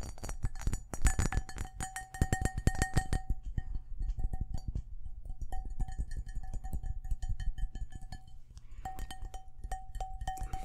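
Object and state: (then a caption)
Cut crystal glass bowl. A large, empty, hollow cut-glass crystal bowl is held up in the hands while fingertips and nails tap rapidly on its outer wall. The quick, dense taps carry a heavy low thump and a clear glassy ring, with a steady tone near 700 Hz and a fainter overtone around 1.8 kHz. The ringing comes and goes as the tapping speeds up and eases off.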